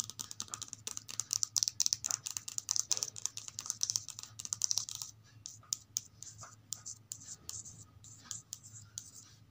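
Long acrylic nails tap and scratch the glossy card cover of a thin softcover children's picture book, "House for Sale" from the Oxford Reading Tree series, lying on a stack of similar books on carpet. Rapid, dense, bright clicking taps fill the first five seconds, then thin into sparser taps and light scratches. Each sound is crisp and high with almost no low end.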